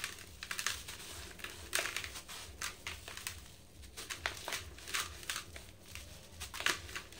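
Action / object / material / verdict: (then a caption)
scrape / sand-cement block pieces / sand-cement / none. Fingertips with green-painted nails squeeze and crumble dry sand-cement block pieces into a powder pile in a blue bucket. The result is a steady run of short, dry, bright crunches and gritty crackles with no ring after each.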